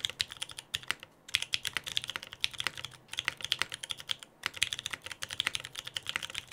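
Both hands type with their fingertips on a Frog TKL mechanical keyboard with lubed Pewter switches, a dark case and white and black PBT plastic keycaps, resting on a desk mat. About 45 rapid, bright, clacky keystrokes come in quick bursts with brief pauses between them. Each click is crisp and dies away almost instantly, with very little low end.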